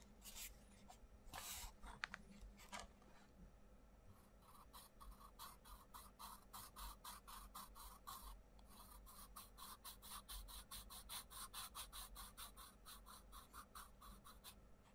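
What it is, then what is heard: Pencil colouring on a paper page. The tip of a wooden coloured pencil scratches and rubs across a page of an open paperback colouring book with printed butterfly outlines, lying flat on a wooden table while the other hand holds the page flat. A few longer scratchy strokes open the clip, then a steady run of short, quick colouring strokes follows, each a dry, bright papery rasp over a low background hum.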